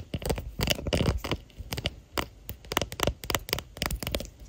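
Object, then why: Hard plastic phone case. Long natural nails and fingertips tap and scratch the back of a smartphone's clear hard plastic case with a white floral print, near the camera bump, while the phone itself records and is seen in a mirror. Short, dry clicks and scratchy scrapes come in irregular bursts, with thumpy low body and bright crackly edges and almost no ring.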